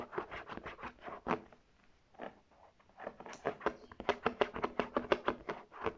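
Long red nails rapidly tap and scratch the front panel, the embossed Polo tag and the straps of a brown faux leather tote bag. The dry, quick taps come in bursts, with a softer stretch of light scratching in between, and the clip ends in a denser run of crisp taps.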